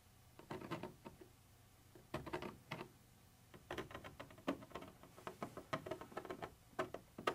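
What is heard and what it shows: A thin metal pointer tip scratches and taps across a white translucent textured plastic surface. Quiet, dry clicks and scratchy rasps come in short clustered bursts separated by brief pauses, each burst ending almost instantly with a light mid-pitched hollow tone.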